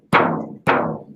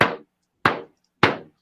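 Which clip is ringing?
The first.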